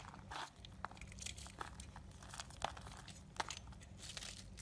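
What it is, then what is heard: Marbled bar soap being carved. A solid black and white marbled soap bar, held in the hand, is carved and scraped with a yellow utility knife blade, shedding crumbly flakes. Soft, dry crinkling and scratchy crunches follow one another at an uneven pace. A few sharper, brighter scrapes stand out against a low background rumble.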